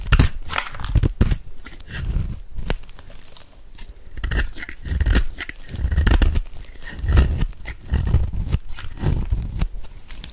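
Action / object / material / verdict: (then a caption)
scrape / soap bar scraped with a metal blade / soap / none. A metal blade scrapes the face of a dry, solid white soap bar held in the hand, shaving off white flakes. Repeated, irregular crunchy scraping strokes with a dull low body and bright crackling bursts come and go in uneven waves.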